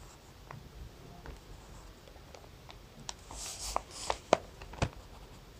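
A graphite pencil draws small detail marks on a sketch on a thin lined notebook page, making soft scratching strokes. Quiet papery scratches build to several sharper ticks toward the end, with a brief brighter rustle in the middle.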